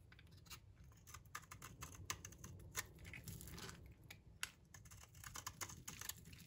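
A blade shaves thin curls off a solid, rounded, light green bar of dry soap held in the palm. Quick, crisp scraping clicks and crackles follow one another in bright, dry bursts over a low, steady rumble.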